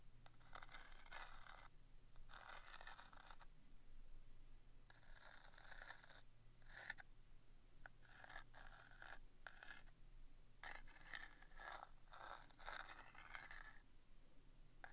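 A small, worn cardboard box of Rodi brass thumbtacks is held in the hand while a wooden stick scratches and taps across its printed lid. Bursts of dry, papery scraping alternate with quiet pauses and a few sharp taps over a low steady hum.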